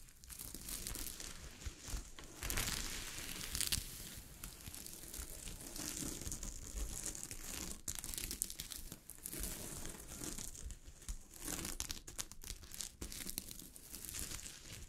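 Long decorated fingernails scratch and rake across a large flat piece of gold sequined fabric, with small plastic sequins sewn onto cloth, lying on a surface. The sound is a steady, dense crinkling rasp with fast, bright clicks over a low rumble, swelling into louder bursts at times.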